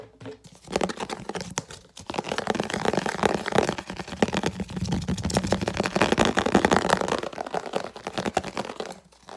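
A translucent red rounded-square plastic food storage lid is held up in the hands and rapidly scratched and tapped with long nails. Dense, crackly scratching with quick clicky taps fills the mid range, with a low-mid hum of friction underneath. It starts after a brief quiet moment, builds into a steady, busy stream, and fades out near the end.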